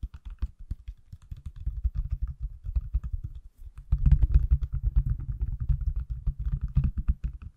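Fingertips and nails rapidly tap the back and edges of a pale green silicone/plastic case on a hand-sized, solid iPhone held close to the mic. The result is a fast, steady stream of short, dull, low thuds with faint clicks and little ring. The tapping pauses briefly around the middle, then resumes louder and denser.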